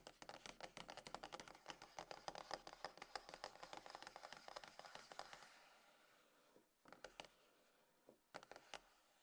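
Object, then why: Closed cardboard phone box. Long nails tap and scratch the top and front edge of a closed, hollow, dark grey cardboard iPhone box resting on a table. A rapid, dense run of bright, dry clicks and scratches fills the first five and a half seconds. After a quieter gap, a few short clusters of taps follow near seven and eight and a half seconds.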